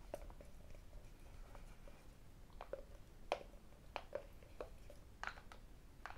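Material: Cardboard.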